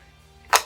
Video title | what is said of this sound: The Dangers of Ordering Custom Guitars | when you're playing and you tap it, you can hear the pickup on the bridge